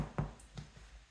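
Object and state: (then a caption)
Baked-through loaf of bread (hollow). A corn bread loaf fresh out of the bread machine is tapped twice, giving two short, dull, low hollow knocks with a slightly woody tone. The hollow sound shows the loaf is baked through.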